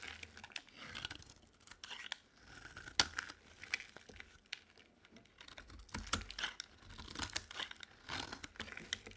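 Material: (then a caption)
Soap. A utility knife blade scrapes a solid cream bar of dry soap held in the palm, shaving it into curls. The sound is a quiet, bright, crackly scraping in short repeated strokes, with a crisp dry crunch and little low end.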